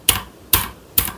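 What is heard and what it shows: Three taps on the plastic space bar of a Redragon K621 TKL wireless low-profile mechanical keyboard, tapped to test its stabilizer. Each tap gives a sharp, bright clack with a faint low thud and a short rattly tail that fades within a fraction of a second. The stabilizer rattles slightly but not heavily, and less than the badly rattling space bar of an MSI keyboard.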